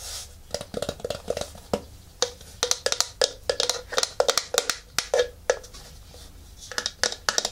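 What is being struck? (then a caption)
Plastic photography turntable housing. Fingertips and nails tap the top and the underside, where the rubber feet are, of a round white plastic photography turntable about 20 cm wide, with a hollow housing and a power cable. The taps come in quick, uneven bursts of sharp, bright clicks with a short hollow knock around 500 Hz that dies away almost at once. There are brief quieter gaps between the runs.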